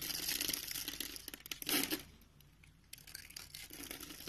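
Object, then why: Soap bar. A box-cutter blade scrapes and carves a palm-sized, solid rectangular tan bar of soap held in one hand, its surface pre-scored into a grid, flaking off small cubes and shavings. Dense, bright crunching and crinkly scraping build to a loud burst near the two-second mark, drop to a quieter stretch, then return as lighter, rapid scratches.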